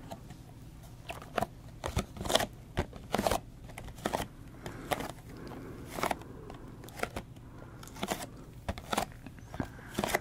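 Long manicured nails tap and scratch a small, hollow, printed cardboard retail box with a window, held upright with a slug fidget toy inside. The result is an irregular run of short, dry, crisp clicks and crunchy scrapes, each fading almost instantly over a low steady hum.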